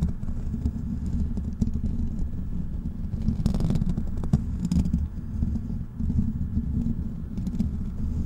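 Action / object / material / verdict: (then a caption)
scrape / metal mesh microphone grille / metal mesh / none. Fingertips of both hands scratch the black metal mesh grille of a large, hollow desktop microphone. The result is a steady, dense, low rumbling scrape, with brief brighter crackling bursts around the middle of the clip.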